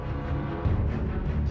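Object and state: Nothing is struck.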